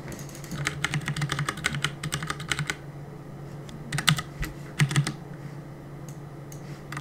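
Fingertips press and tap the plastic keycaps of a black plastic CM Storm mechanical keyboard on a desk while gaming. A fast flurry of sharp, bright clicks fills the first few seconds, then quieter clusters of taps come around the fourth and fifth seconds, with sparse taps after that. A steady low hum runs underneath throughout.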